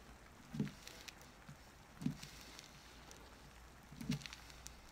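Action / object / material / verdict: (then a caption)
scrape / soap bar carved with a knife / soap / none. A small wooden-handled carving knife carves and scrapes a solid, orange-tan, hand-sized oval bar of soap held on paper over a cutting mat, with soap shavings on the paper. Three soft, low, dull scrapes stand out at roughly even spacing over a quiet, faintly hissing background, each with a few faint bright ticks.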